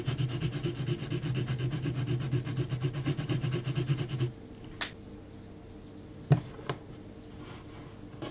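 A hand scratches a yellow HB graphite pencil in quick, repeated strokes across the face of a graphite portrait on a flat, thick, heavy paper sheet. It makes a steady, low, scratchy rubbing for about four seconds. Then it goes quiet, with only a few faint light ticks.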